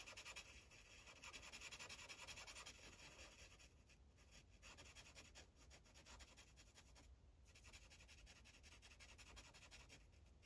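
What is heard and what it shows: A dark green Sharpie marker tip rubs back and forth on a thin paper coloring page resting on a clipboard, filling in small circles. The result is a steady, bright, scratchy squeak of quick strokes at an uneven pace, with brief softer pauses partway through and a faint low hum underneath.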